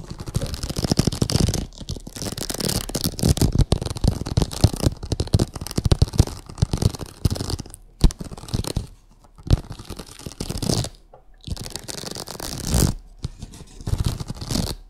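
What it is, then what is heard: Vinyl oilcloth tablecloth. Long acrylic nails scratch and tap across a printed vinyl oilcloth tablecloth on a table. Dense bursts of scratching and quick, dry taps carry on with brief pauses throughout.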